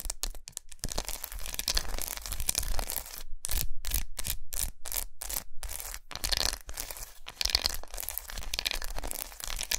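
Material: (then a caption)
Chocolate. Long nails tap and scratch the squares of a large, unwrapped, solid, segmented milk chocolate bar resting on a towel. Dense, bright scratching rasps run through most of the clip, broken in the middle by a string of short tapping bursts with brief silences between them. A low thud runs underneath throughout.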